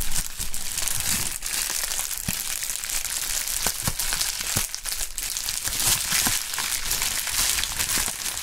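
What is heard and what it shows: A large sheet of pink anti-static polyethylene bubble wrap with air-filled bubbles is crumpled, twisted and squeezed by gloved hands with bare fingertips. The result is a steady, bright crinkling and crackling with sharp snaps scattered throughout and a low rumble underneath.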